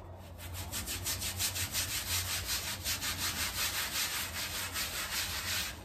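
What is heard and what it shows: A gloved hand scrubs a small patterned woven area rug, sprinkled with powder, in repeated strokes with a white bristle hand brush. A steady run of rhythmic, bright bristle-scraping swishes, with a low hum underneath.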